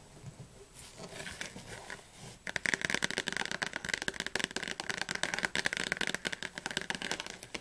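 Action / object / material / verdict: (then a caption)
tap / thick softcover book, glossy paper cover / paper / none. Long fingernails tap on the glossy blue cover and spine of a thick, closed softcover Oxford Advanced Learner's Dictionary held in the hands. Sparse, quiet taps for the first couple of seconds give way to fast, louder, crisp clicking with a bright, papery edge that runs to the end.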